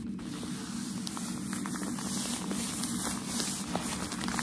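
Crumpled white shoe packaging paper, held in the hands, is rubbed and scratched with fingertips and nails. A steady, soft crinkling rustle with broadband hiss plays throughout, with small crackles scattered over a low hum.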